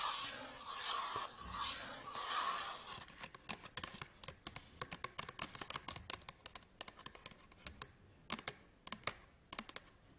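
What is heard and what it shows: Fingernails tap rapidly on the printed cardboard back of a small, flat SanDisk memory card retail package with a plastic window. About three seconds of brushy, crinkly scratching come first, then a fast, irregular run of sharp, dry, bright clicks that die away almost instantly.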